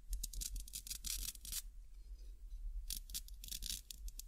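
A small, flat, thin, solid green nylon hook-and-loop cable tie is held in both hands while fingertips and nails press the hook side against the loop side and peel it apart. Two bursts of bright, crackly ripping and scratching are separated by a brief quieter pause, over a steady low hum.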